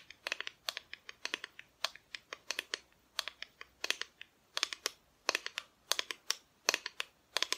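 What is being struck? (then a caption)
Flat painted wooden cutout. Long nails tap rapidly across the front of a flat, solid, painted wooden Christmas decoration cutout. The taps are quiet, sharp, bright clicks with almost no ring, falling in quick irregular clusters with short pauses between them.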